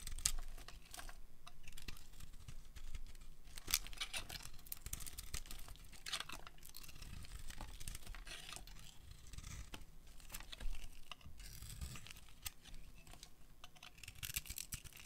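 A metal utility blade shaves a solid white, hand-sized dry soap bar into crumbly curls. Dry, crisp scraping and crunching strokes come one after another with bright, high crackle over a low background rumble. Each stroke is short with almost no ring, and a few sharper cuts stand out.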